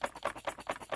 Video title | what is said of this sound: Three random Masters Of The Universe figures I'm finally opening. | if you shake him, you hear that rattling, like a baby's rattle